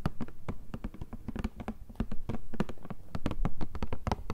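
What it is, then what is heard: Cardboard tissue box tapped. A hollow, rectangular cardboard Kleenex tissue box with a tissue sticking out is tapped with long nails and fingertips on its sides and top. About 25 quick, dry taps land in an uneven patter, each a short, low, hollow thud with a brief clicky edge. They die away almost instantly.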